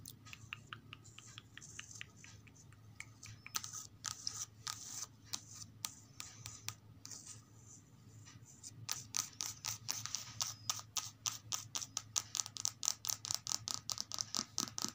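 Long acrylic nails tap and trace over the glossy card cover of a thin softcover children's picture book, "Village in the Snow," resting on a stack. Light, bright clicking taps alternate with soft scratchy tracing strokes, then grow louder and faster into a rapid run of crisp, dry taps over the last six seconds.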